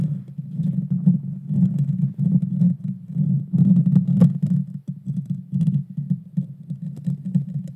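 Long painted fingernails of both hands scratch the bare metal mesh grille of a Blue Yeti Nano, a small USB microphone with a hollow head. The result is a dense, boomy rumble centered low around 170 Hz, with rapid scraping bursts that swell and fade, faint crackly high ticks, and a brief dip near five seconds.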